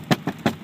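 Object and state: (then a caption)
Hollow-sounding padded plastic door panel. Four taps on the upper door panel of a 2005 Chevrolet Tahoe, a semi-padded plastic panel with a vinyl coating, each giving a short, dull knock centered in the low-mids that dies away almost immediately. The panel sounds hollow.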